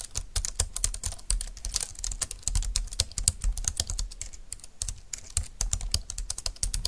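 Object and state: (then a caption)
Plastic wireless keyboard being typed on. Fingertips and long nails type steadily on a compact, thin, dark-green plastic Bluetooth keyboard lying on a desk mat. The result is a fast, continuous run of short, dry key clicks with bright, clacky tops and a soft low thump beneath each press, with no ring after the hits.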